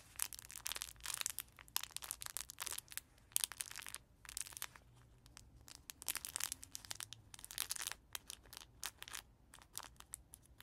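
A small black-and-white cloth baby book with crinkly pages is held in both hands while fingertips and nails scratch and squeeze its fabric pages. The result is a run of sharp, bright crinkling and crackling bursts with very little low end, separated by brief quiet gaps.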